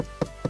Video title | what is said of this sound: Mazda6 CD184 AT Takumi Plus test | Kada ovako kucnem, osjeti se da to nije plastika nego prava lamperija.